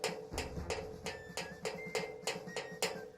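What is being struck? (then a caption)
Wooden wardrobe. A wardrobe is knocked softly, giving a steady series of about ten quiet, short knocks with a faint ring near 430 Hz. Each knock dies away quickly, so the result is a quieter, gentle tapping.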